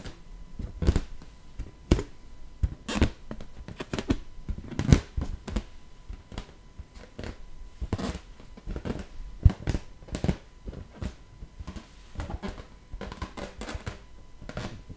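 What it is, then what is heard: Latex balloon. An inflated teal latex balloon, hollow and air-filled, is tapped and scratched with long nails. The result is a steady run of short, dry taps with a low thump and bright scratchy clicks that die away almost instantly, over a quiet background.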